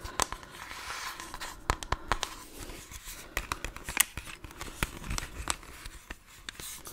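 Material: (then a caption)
Plastic. Fingernails tap and scratch the body and lenses of a small hollow plastic twin-lens style toy camera held close to the microphone. The result is a quiet stream of sharp, dry clicks with bright, crackly scratching in between, each tap dying away almost instantly.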